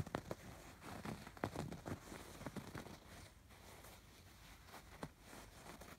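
Fingertips and nails scratch the raised diamond embroidery stitching on a soft, stuffed fabric pillow. Quiet, dry scratches and crackles come in short bursts, busiest in the first three seconds, then thin out to a softer, steady rustle with a few sharper scrapes near the end.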